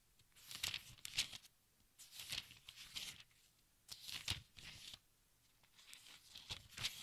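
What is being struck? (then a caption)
Thin paper pages of a large book. A hand lifts and turns the thin, crinkly pages of a large open textbook with its fingertips. Four separate bursts of bright, papery crinkling and rustling rise and fade, with quiet pauses between them.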